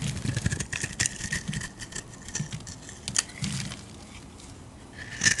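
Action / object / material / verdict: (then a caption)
scrape / solid bar of soap cut with a metal blade / soap / none. A metal blade carves shavings from a solid rectangular blue bar of soap, giving a run of crisp, crackling scrapes. Each stroke pairs a low rasp with a bright edge that lingers around 1.7 kHz. The scraping is busiest at the start, quiets to a soft hiss in the middle, and sharpens again at the end.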